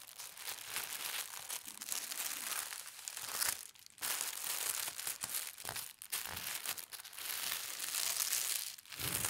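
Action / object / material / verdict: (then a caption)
scrape / thin tissue paper / paper / none. A palm and fingertips with long red nails smooth a flat sheet of thin white tissue paper printed with gold stars and grip its edges. The result is a steady, bright crinkling and rustling with brief quieter dips as the hands shift their hold.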